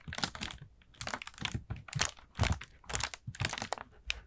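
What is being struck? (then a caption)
Ribbed paper lantern. An orange, ribbed, hollow paper pumpkin lantern with a painted face is scratched and tapped with fingertips and nails. The result is irregular bursts of dry, crinkly paper rustling and soft tapping, with about thirteen distinct hits heard over four seconds.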